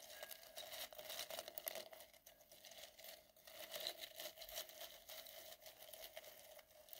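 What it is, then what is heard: Glitter-coated foam balls being brushed. A soft white makeup brush, held in the fingertips, brushes and rubs many small solid gold glitter-coated styrofoam balls in a clear glass bowl. The result is a quiet, bright, crinkly scratching that rises and falls in overlapping strokes, with a faint steady tone near 600 Hz and no low end.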